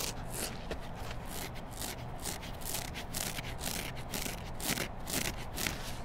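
Long black nails rub and scratch along the foam side and edges of a hand-sized, solid yellow foam kitchen sponge with a green scrub layer. The result is a steady, dry scratching hiss, with bright, airy strokes repeating roughly twice a second over a low, constant rumble.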